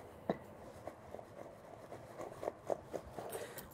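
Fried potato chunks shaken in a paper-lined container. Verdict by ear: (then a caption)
Crisp. Freshly fried potato chunks are shaken in a paper-towel-lined container, producing a series of quiet, dry, crisp rattling clatters with little ring. The sound shows the potatoes are crispy.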